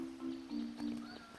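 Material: Nothing is struck.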